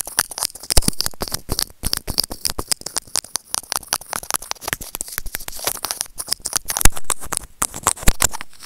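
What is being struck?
Small plastic earphone remote scraped with plastic tweezers.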